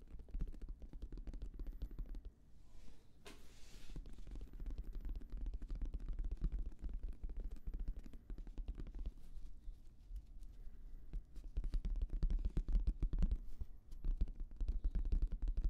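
Fingertips rapidly tap a hollow, black, oval, fabric-covered semi-rigid Bose headphone case held close to the microphone. The result is dense, irregular, muffled thumps with a deep, hollow low-end and almost no ring, interrupted by a brief, brushy hiss a few seconds in.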